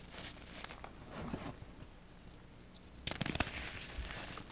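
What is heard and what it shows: Fingertips with short painted nails squeeze and crumble small solid pink and blue-white reformed gym chalk balls over a pile of chalk powder. Soft, dry crinkling and crumbling rise around the middle of the clip, then a quick cluster of sharper, brighter crunches breaks out near the three-second mark before fading back into quiet, gritty crumbling.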